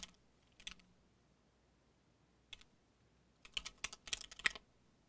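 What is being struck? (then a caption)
Mechanical keyboard with plastic keycaps. Fingertips of both hands type on a compact mechanical keyboard with cream and dark plastic keycaps on a solid case. A few sparse, bright plastic key clicks come first, then a quick, uneven burst of taps near the end. Each click is sharp and dies away almost at once over a quiet background.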